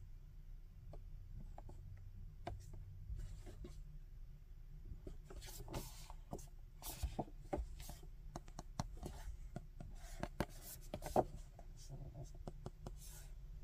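A printed cardboard action-figure box, hollow and likely empty, is held in both hands while fingertips rub and slide over its printed surface. Soft, quiet rubbing and brushing sounds come with scattered brief scratchy ticks over a low steady hum.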